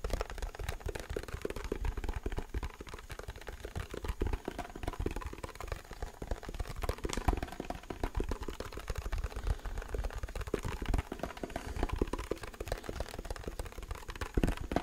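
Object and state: Plastic keyboard case.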